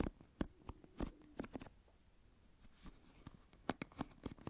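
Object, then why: Plastic paddle hairbrush with pin bristles. Fingertips and a thumb scratch and flick the pin bristles of an oval plastic paddle hairbrush held sideways close to the microphone. Quiet, dry clicks and snaps with a low-mid plasticky tone come in bunches at the start and end, with a soft scratchy lull in the middle.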